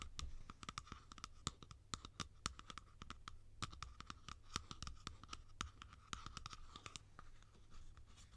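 A hollow blue plastic cap, open end facing up, is scratched and tapped along its sides with long nails. It makes a quick, uneven run of sharp, dry clicks and light scratching at a quiet level. A low steady hum sits underneath throughout.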